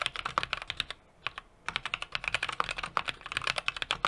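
A small 60% mechanical keyboard with an aluminum case, brass plate and plastic keycaps is typed on rapidly with the fingertips of both hands. About 26 short, bright key clicks snap off with almost no ring, broken by a brief pause near the one-second mark before the typing resumes.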